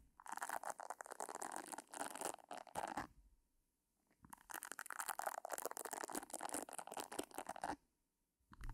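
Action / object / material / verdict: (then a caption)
scrape / silicone facial cleansing brush / silicone / none. Long nails scratch the nubs on the round head of a pink silicone facial cleansing brush held at the right side of the mic, making dense, crackly, bright scratching with a bit of papery crinkle. It comes in two sustained bursts split by a short silence, and a third burst begins just as the clip ends.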